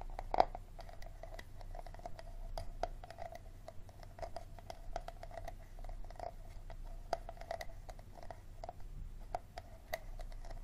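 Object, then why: Plastic water bottle base. Fingernails scratch and tap the ribbed, textured base of an empty clear plastic water bottle held in both hands. The result is a quiet, steady stream of short dry clicks and scratchy rasps, many carrying a faint hollow tone around 700 Hz, over a low background hum.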